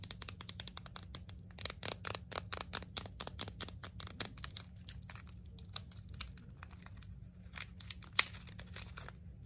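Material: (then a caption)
Plastic film. Long blue acrylic nails crinkle and tear open the clear plastic packaging of a long red emery nail file held in both hands. Dense, bright crackles and sharp clicks come in rapid bursts over a faint steady low hum, with one louder snap near the end.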